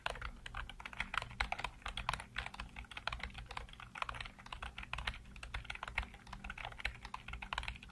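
A full-size black plastic keyboard with hollow keycaps is typed on rapidly by fingertips, giving a dense run of short, bright clicks and clacks with almost no ring. A low steady hum sits underneath the tapping throughout.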